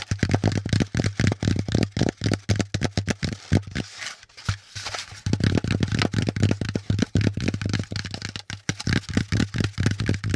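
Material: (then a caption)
Cardboard. Fingertips rapidly tap and scratch a brown corrugated cardboard packaging insert with folded compartments, held close. The dry, dull thuds come about four per second in an uneven rhythm, with a low body and short, quickly fading decay. A brief stretch of softer scratching near the middle breaks the steady tapping.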